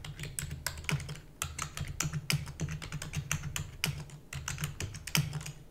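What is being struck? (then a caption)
Plastic computer keyboard. Fingertips and long natural nails type rapidly on a full-size black plastic computer keyboard with plastic keys and a hollow housing. A fast, uneven stream of bright, sharp clacks sounds over a steady low hum, each click dying away almost instantly.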